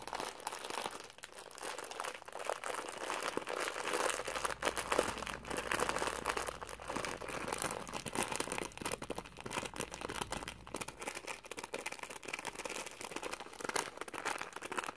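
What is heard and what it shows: A palm-sized Top Ramen beef instant noodle packet, a thin plastic film wrapper full of a dry noodle block, is held in both hands and squeezed and crinkled with the fingertips throughout. Dense, continuous crinkling and crunching fills the clip, with most of the energy in the mids and upper mids, little low end, and quick crackles that die away almost instantly.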